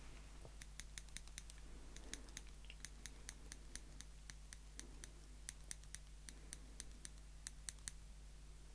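Small, slim, solid stainless steel tweezers are held up in the fingertips, and their tips are pinched and clicked together repeatedly. Each click is a sharp, bright metallic tick that dies away almost at once, in an uneven series of about thirty. A steady low hum runs quietly underneath.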